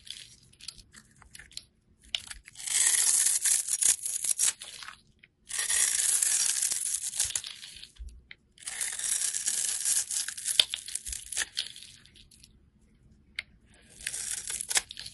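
A snap-off utility knife blade scrapes and shaves a solid oval bar of purple soap held in the hand, leaving powdery flakes. Quiet, dry, bright, crackly scraping comes in four long passes separated by near-silent pauses, with almost no low end.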